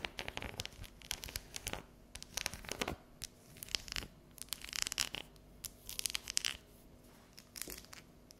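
Long yellow natural nails tap and scratch across the ridged squares of a solid, unwrapped dark chocolate bar resting on a table. The result is a quiet, irregular run of crisp, bright scratches and sharp little taps, mostly high-pitched with very little low end. The taps stop instantly with no ring.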